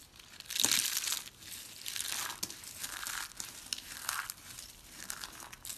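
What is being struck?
Soap curls and shavings.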